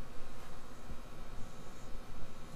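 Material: Nothing is struck.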